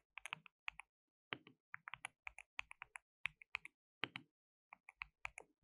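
Both hands type with their fingertips on a compact white plastic mechanical keyboard with pale keycaps and a hollow case, resting on a dark desk mat. Quiet, bright, clicky key taps come in quick irregular bursts separated by short pauses. Each tap is dry and dies away at once, with almost no low end.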